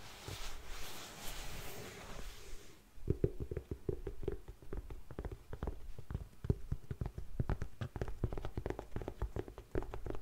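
Long nails scratch and then tap rapidly on the suede upper of an empty grey faux suede heeled ankle boot with a buckle. A soft, breathy scraping fills the first few seconds, followed by a quick run of short, dull, low taps with little ring.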